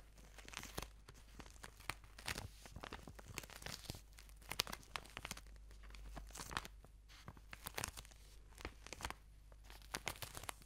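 A long white product tube wrapped in clear, crinkly plastic film is held in the hands, squeezed, and scratched with long nails close to a microphone. Quiet, dense bursts of bright crinkling and crackling come and go throughout, over a faint steady low hum.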